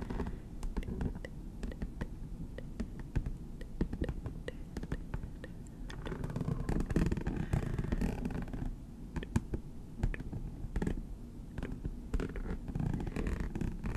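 A rhinestone-encrusted hard clutch purse shaped like a stack of bills, lying close by, is scratched and tapped with the tips of long green acrylic nails. Rapid, dense clicks and gritty scratching sit mostly in the low range, with short sharp ticks that die away almost instantly. A faint murmur like distant speech may sit underneath.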